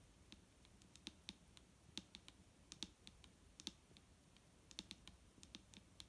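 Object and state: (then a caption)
Plastic bottle. Fingertips tap on a plastic micellar water bottle, giving quick, dry, irregular clicks that sound much like typing on a keyboard. Each tap is a sharp, bright tick that dies away almost instantly over a faint low rumble. Around two dozen taps are heard, some louder than others.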